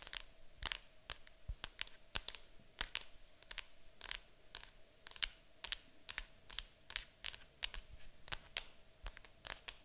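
Long acrylic nails tap and scratch across the top of a large, hollow, printed cardboard board game box. Quick, dry, bright clicks come in an irregular rapid stream, with papery scratching between them and a faint steady tone underneath.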